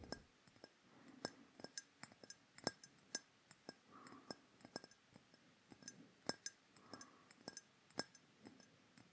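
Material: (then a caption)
Glass. A hollow, dark rectangular glass perfume bottle with a black metal-look cap is held close to the microphone and tapped with fingertips and fingernails. Many quick, separate clinks sound with a bright, high glassy ring that fades almost at once, over soft, dull finger taps.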